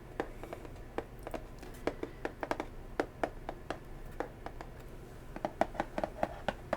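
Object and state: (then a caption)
Cardboard box tapped with fingernails. A cardboard box is tapped with natural fingernails in a steady series of quick, dry taps over a faint, low background hiss. Each tap is a short, hollow click centred in the midrange with almost no ring, and the taps grow a little louder and closer together toward the end.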